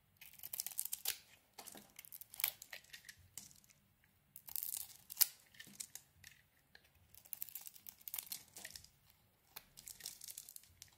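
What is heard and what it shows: A utility knife blade carves into a hand-sized, solid embossed lilac bar soap with a pink core, shaving off the lilac layer and pink flakes. Quiet, bright, crumbly scraping and tearing comes in clusters of short dry cuts separated by brief silences, with almost no low end or ring.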